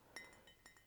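Fingernails tap four times on a thin-walled fine bone china cup decorated with a cathedral procession of clergy. Each tap gives a light, bright clink with a clear ring near 2 kHz that fades in about a quarter second. The thinner china gives it a slightly different sound.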